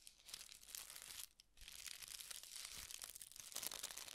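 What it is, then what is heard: Tissue paper being crinkled. A folded sheet of thin red tissue (silk) paper is held in both hands and crinkled and rubbed between the fingertips. It makes a steady, bright, crisp crinkling and rustling with almost no low end, pausing briefly just before the midpoint and then resuming.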